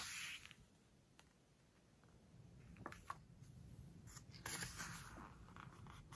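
Hands turn a page of a glossy-paper book and rub it flat with fingertips and long nails. A bright papery swish opens the clip, followed by quiet, irregular scratchy strokes and crinkles as the nails smooth the glossy page.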